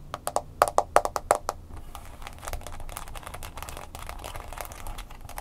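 Long nails tap quickly on an upright smartphone in a mint green plastic case, striking the case edges and screen with sharp, bright clicks. The tapping then gives way to a steady, dense scratching texture across the case and screen.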